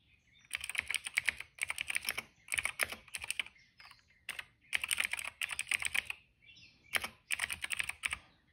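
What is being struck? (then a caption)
Plastic mechanical keyboard. Fingertips of both hands type steadily on a retro-style cream plastic mechanical keyboard with dark and purple plastic keycaps and a hollow case, resting on a rug. Bursts of crisp, bright clacks come in rapid runs separated by short pauses, with no low thud and almost no ring after each keystroke.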